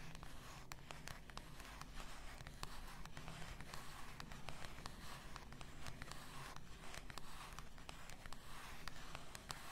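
Long nails scratch and tap the label area of a full glass bath salt bottle lying on fur. A quiet, steady scratching texture is broken by many sharp, bright ticks that die away instantly, over a low, dull rumble.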